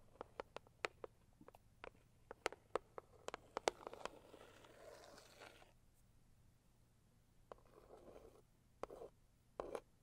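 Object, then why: Cardboard gift box. Long acrylic nails tap the lid of a closed, hollow, medium-size pink floral Saviland cardboard gift box. A quick scatter of sharp, dry clicks is broken by softer scratchy brushing stretches, and the clip ends on a single-nail tap.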